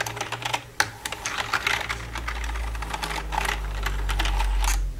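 Long red nails tap quickly and unevenly on the keys and silver frame of a black plastic computer keyboard. The result is a stream of sharp, bright plastic clicks that blur into a dense clatter toward the end, over a steady low hum.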